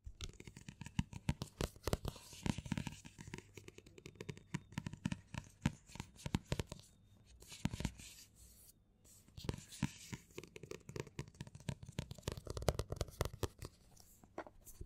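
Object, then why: Paperback book with card cover. Fingertips and short nails of both hands tap and scratch the back cover of a closed dark green paperback novel lying flat on a table. Dense, rapid, soft taps and scratchy rustles continue with brief pauses around 7 and 9 seconds, carrying a low, dull thump under a faint papery texture.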